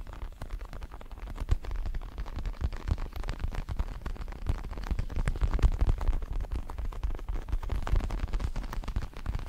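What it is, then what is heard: Synthetic leather boxing glove. Fingertips tap and scratch the red leatherette surface of a large, padded, red and black Everlast boxing glove made of synthetic leather. Dense, irregular soft taps and rustling scratches run continuously, with a dull, low thumpy body and little brightness.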